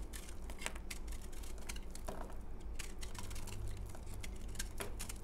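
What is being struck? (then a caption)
Bar of soap scraped with a knife blade. A utility knife blade scrapes powder off a solid, porous, crumbly pale green bar of dried soap held in the hand. The clip is a quick run of short, dry, crisp scratches and clicks with bright edges. A steady low hum runs underneath.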